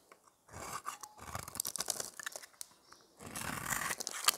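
A hand-sized, solid, rounded white bar of dry soap is held in one hand while the blade of a metal utility knife scrapes and shaves its surface, sending soap curls onto a pile of shavings. Dry, crisp scraping and crunching comes in three bursts of rapid shaving strokes with brief quiet gaps between them, bright and high with almost no low end.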